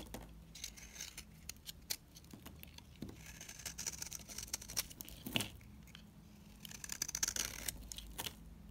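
A solid, dried cream bar soap (Ayu and Savoy) is shaved and scraped with a utility knife blade, shedding powdery crumbs. Dense, dry, crisp scrapes and quick, bright crackles come in bursts over a faint low hum, with a few sharper snaps along the way.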